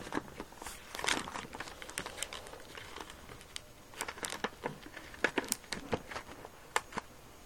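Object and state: Rubber balloon being squeezed.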